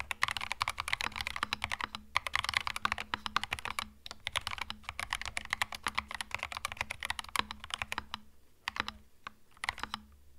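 Fingertips type continuously on a compact cream mechanical keyboard with plastic keycaps, producing rapid, bright, short clicks with very little ring. The typing briefly pauses around the two- and four-second marks and thins to sparser keystrokes near the end, over a faint steady low hum.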